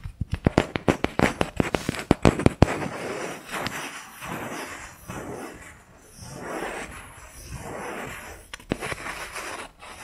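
Fingertips and nails work over the top of a round, flat, solid wooden jar lid with visible grain, held close. A quick run of sharp, dry taps opens the clip, then gives way to slow swelling waves of soft, breathy scratching across the grain. A few scattered taps return near the end.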